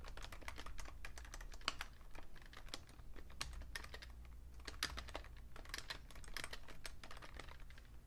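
Fingertips type steadily on a vintage beige plastic full-size Fujitsu Siemens keyboard with a hollow case, producing a rapid run of short, crisp key taps with occasional brighter clacks. A steady low hum sits underneath the clicking throughout.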